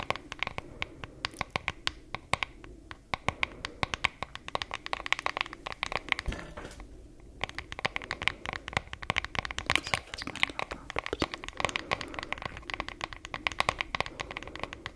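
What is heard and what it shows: Long nails tap and scratch a wooden hairbrush with a solid wood back and handle and a printed flower design. The result is a dense run of sharp, dry, bright clicks over a soft scratchy rustle, with a brief lull in the middle.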